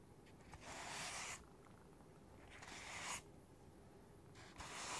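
Fingertips and nails tap and scratch the top surface of a white, hollow, closed styrofoam packing box with a lid. Three separate bursts of bright, dry, hissing scratching are heard, each lasting under a second with quieter gaps between them.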